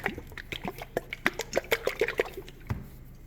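A plastic bottle of epoxy resin from a suspected bad batch (UTC Gloss, lot number six) is shaken, giving quick, uneven liquid sloshes and splashy clicks. The sloshing sounds thin and watery, unlike a good batch, which sounds thicker.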